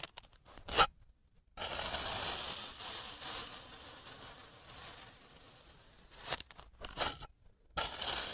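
A clear plastic knife, with the microphone clipped to it, cuts thin slices from a solid block of orange kinetic sand, and the slices stack up beside the block. Short crisp crunches come first, then a long, steady, gritty hiss as the blade draws through the sand, followed by a few quick crunching cuts and another sustained slice at the end. The sound is dry, bright and crackly, with almost no low end.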